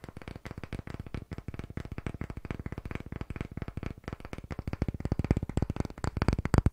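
A palm-sized, solid pale wooden block with a curved edge is held in both hands while fingertips and nails rapidly tap and scratch its surface. A dense, steady stream of short, dull, low knocks with almost no ring follows, rising in loudness toward the end.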